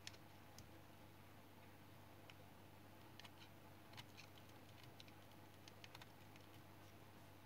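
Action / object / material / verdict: scrape / piece of household soap cut with a knife blade / soap / none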